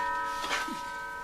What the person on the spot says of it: that is a heavy piece of Steel you can hear how it's ringing whenever I move it